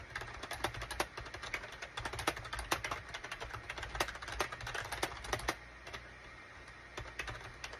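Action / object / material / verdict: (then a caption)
tap / plastic computer keyboard / plastic / none. Fingertips of both hands type rapidly on a gray SHIPADOO K600 full-size wired USB keyboard with a gray plastic case and cream, gray and orange plastic keycaps. The rapid plastic key taps are bright, short clicks that stop quickly over a faint low hum. The typing briefly eases off near the end before a few more taps.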